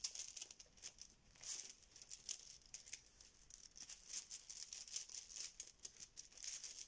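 A yellow fabric Bananagrams pouch full of plastic tiles is held in both hands, squeezed and shaken, so the tiles clack inside. The result is a quiet, bright, steady stream of rapid clicks and rattles with almost no low end, rising and falling in short bursts throughout.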